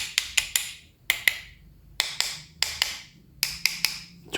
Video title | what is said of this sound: SEKEREN INI CUMA 150 RIBU ⁉️⁉️ - Reel DZ CROSSFIRE Ini Bikin Tetangga Minder | bagian lehernya cukup keras suaranya nyaring